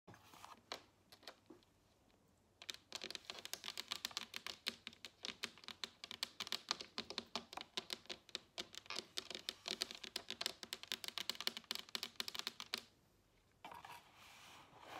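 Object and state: Cardboard perfume box.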